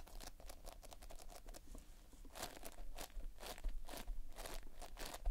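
Fingertips press into, pinch and scratch the surface of a large, flat mass of multicolored Playfoam, made of tiny foam beads in a sticky binder. The result is quiet, crunchy crinkling and tearing, with rapid bursts of bright crackle that come and go.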